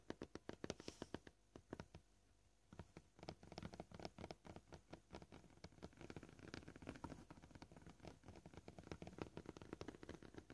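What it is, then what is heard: Plastic cutting board. Short painted fingernails on both hands tap their tips across a flat, solid, scratched white cutting board, probably plastic, lying flat. The quick, dry clicking taps come at a varying pace, with a brief pause near the two-second mark, each tap sharp and short with a faint low knock beneath it.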